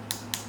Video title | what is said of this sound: Acrylic Application: | if you get that tapping noise that means it's dry